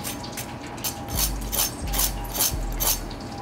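Freshly fried beer-battered cod fillets, straight from the fryer, are handled on a wire rack, giving a run of sharp, dry crackles and crunches with bright high-frequency bursts over a low background rumble. The crust sounds crispy.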